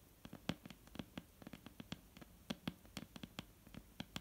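Long painted nails of both hands tap and lightly scratch a solid, dark brown wooden table top, giving about 22 quick, irregular taps over soft background hiss. Each tap is a dry knock with a low, woody thump and a bright click that dies away almost instantly.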